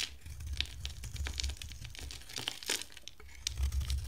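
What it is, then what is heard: Dry soap bar being shaved. A box-cutter blade shaves a solid, hand-sized bar of dry pink soap with a ribbed teal rim. It makes rapid, crisp scraping and crinkling strokes with bright crackles over a steady low rumble.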